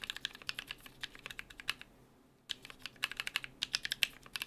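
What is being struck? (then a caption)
Mechanical keyboard with PBT plastic keycaps on an aluminium plate. Fingertips of both hands type rapidly on a small BM43A mechanical keyboard with NK Creams switches, cream/brown PBT plastic keycaps, an aluminium plate and a hollow case with plate foam. A fast stream of short, bright clicks and clacks is heard, with a brief pause in the middle before the typing resumes.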